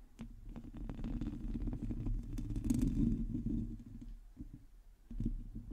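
Long teal nails on both hands quickly scratch the hollow metal mesh grille of a black microphone. The result is a dense, low rumbling scratch with a buzzing tone around 250 Hz and many fast, irregular ticks. It swells louder in the middle, fades down, then picks up again near the end.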